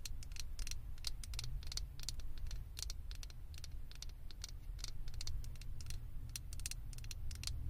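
Long acrylic fingernail tips tap rapidly and irregularly on the top and sides of a small hollow blue plastic Stitch figure head fitted on a microphone. The taps are short, bright, dry clicks with almost no ring, layered over a steady low rumble that holds most of the energy throughout.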